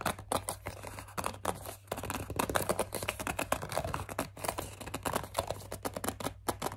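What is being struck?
Plastic pump bottle.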